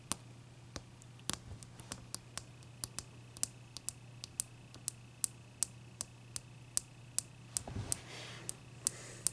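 A large, clear, solid block of ice resting on a towel is knocked with a knuckle, then tapped and scratched by long dark nails. A steady series of short, bright, dry clicks sounds over a faint low hum. Near the end comes a brief rasping scratch across the surface.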